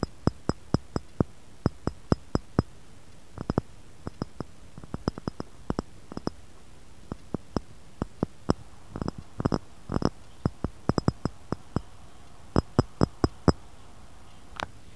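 Fingernails tap around the rim and inside of an empty, clear, textured pressed-glass cup sitting in a glass saucer. Dozens of short, sharp clicks come in an irregular, playful rhythm, some in quick clusters, with a dull low body and faint bright glassy pings that die away almost at once. Near the end a single brighter, slightly longer tap stands out.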